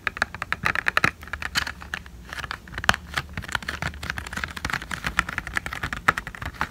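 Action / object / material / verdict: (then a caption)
tap / thin plastic eyelash tray / plastic / none. Long fingernails rapidly tap and scratch a hollow white plastic false eyelash blister tray, making a dense run of sharp, dry clicks with brief scratchy crinkles. Each tick dies almost instantly over a faint steady low hum.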